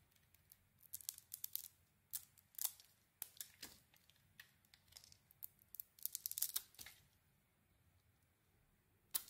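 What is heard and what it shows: A solid white soap bar with a dark red and white patterned coating is shaved and carved with a metal utility blade. Quiet, bright, crisp scraping strokes come in quick irregular bursts, each dying away almost at once. After a lull, one final sharp scrape closes the clip.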